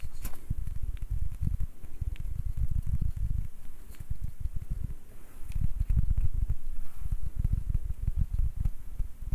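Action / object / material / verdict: tap / small ribbed wooden ball / wood / none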